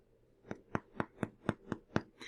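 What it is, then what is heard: Baked-through bread loaf, hollow sound. A homemade white bread loaf, golden brown and just out of the oven, is tapped eight times in a steady rhythm, giving short, dull, hollow knocks with very little ring. The hollow sound, the golden brown color and an internal temperature of about 190 show the loaf is baked through and done.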